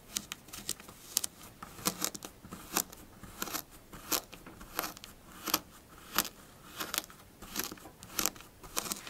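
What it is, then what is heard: Kinetic sand scratched with fingernails. Flattened pink kinetic sand is raked and scratched with long blue fingernails of both hands. A steady run of crunchy, crackling bright scrapes follows, with a soft gritty hiss between them. About 28 short scratches are spaced irregularly.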